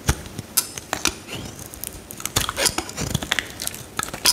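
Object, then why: Bar of soap cut with a metal blade. A metal utility knife blade shaves and carves curls from a solid pale green bar of soap held in the hand while the piece is broken apart. The result is a rapid run of crisp, bright crackling scrapes and sharp snaps that stop almost instantly, with a louder crunch at the very end.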